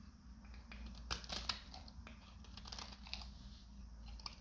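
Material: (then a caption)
Soap. A metal utility knife blade shaves a solid, hand-sized dried green soap bar with a gold-coated side into brittle flakes. The clip is full of quiet, crunchy scraping and crackling with sharp, bright snaps as each flake breaks away, over a low steady hum.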